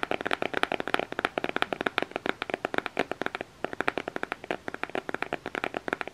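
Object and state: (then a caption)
Cardboard makeup palette. Fingernails scratch and tap a black cardboard eyeshadow palette cover held in both hands. The result is a rapid run of dry, crisp clicks centered in the mid-range, with almost no low end and a brief pause about halfway through.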